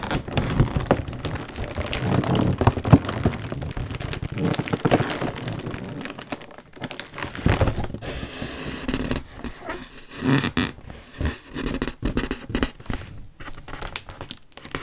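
Long nails and fingertips tap and scratch the taut metallized film of a round, Frozen-themed mylar foil balloon, about 40 cm across, hollow and inflated. A dense, crinkly patter like rain fills the first half with soft low thumps, then thins into sparser, separate taps and scratches toward the end.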